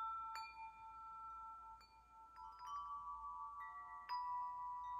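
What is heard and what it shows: A metal tube wind chime, its long hollow metal tubes held up by their string, is knocked and swung by hand so the tubes ring. Several struck notes overlap into sustained, bell-like tones centred near 1 kHz, with bright upper partials. Each strike rings on and layers over the last, with a sharp fresh knock near the end.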